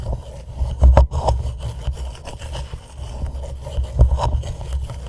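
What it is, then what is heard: Plastic reusable cup tapped and scratched. Fingertips of both hands tap and lightly scratch the sides of a hollow white plastic reusable cup turned upside down over a microphone. The result is a steady, boomy low rumble of soft thuds and scraping rubs with a hollow midrange tone. The strongest taps land around the first and fourth seconds.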